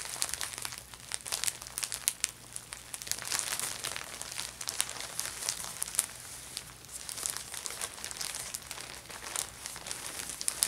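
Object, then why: Thin plastic shopping bag. A thin, empty orange plastic Ulta Beauty shopping bag is flattened and folded by fingertips with painted nails, then lifted and crinkled in the hands. The result is a steady run of dense, bright, crackling crinkles with short, sharp snaps and almost no low end.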